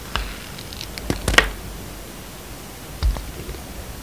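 A utility knife blade slices thin curls off a solid yellow and white striped bar soap held in the hand, and the curls pile on the table. Short, bright scraping cuts and soft rustles come in a cluster early on, then a duller, thicker cut follows after a quiet pause, all over a low steady hiss.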